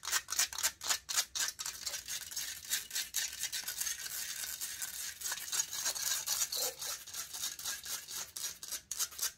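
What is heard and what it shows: Long nails rapidly scratch the hollow metal mesh grille of a silver condenser microphone while fingertips rub it. The result is a dense, dry, bright rasping, with quick uneven bursts at first that run into steadier scraping before breaking apart again near the end.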